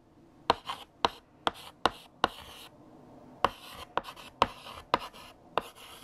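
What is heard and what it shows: A hand writes with lavender chalk on a large, flat black chalkboard, the chalk scratching across the surface. Ten sharp taps, each with a short bright scratch trailing after it, come in two bursts separated by a brief pause near the middle.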